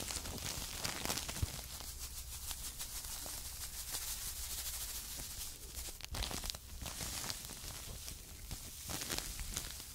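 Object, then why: Paper filter tea bags filled with tea. Two small paper filter tea bags with strings, full of tea, are held by the edges close to the microphone and rubbed and scratched with long nails. The result is a continuous, bright, crinkly scratching and rustling with short sharp scrapes, over a steady low hum.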